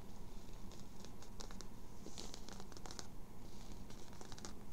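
Long nails scratch and rub the crown and embroidered logo patch of a hollow grey-blue cotton twill baseball cap held in the hands. Quick, bright, crinkly scratching strokes come in bursts over a steady low rumble.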